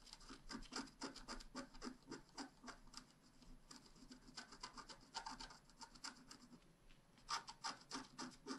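A wooden stylus tip scratches across a flat, black wax-coated scratch-art card about A5 size, a solid thin card lying on a table. It makes a quick, uneven run of short, dry rasping strokes with a bright hiss and a faint low body, each stroke dying away at once.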